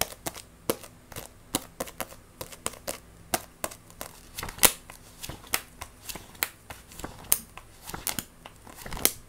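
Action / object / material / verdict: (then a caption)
scrape / paperback book with glossy card cover / paper / none. Long nails rapidly scratch, tap and grip the glossy card cover and edges of a solid Wandering Witch paperback manga. The result is a fast, uneven run of sharp, bright clicks and crisp scratchy rustles, each dying away almost instantly over a faint low hum.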